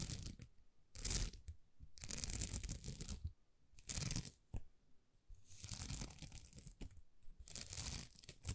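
Long nails scratch across a thin, flexible plastic rhinestone sticker sheet covered in small plastic rhinestones. Bursts of bright, dry scratching and crinkly crackling come and go with short quiet pauses between them, each stopping dead with no ring.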